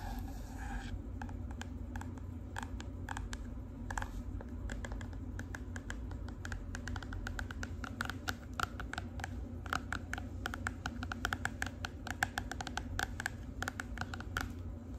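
Long pink acrylic nails tap and scratch the stiff cardboard cover of a black-and-green marbled composition notebook, which is held flat and solid. Rapid, dry clicking taps mix with soft scratching over a steady low background hum, with the taps growing sharper and denser toward the end.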